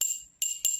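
An empty drinking glass is struck three times, each strike giving a high, sharp ringing tone that fades over a fraction of a second. The empty glass produces a high tone, since the more material inside a container, the lower its tone.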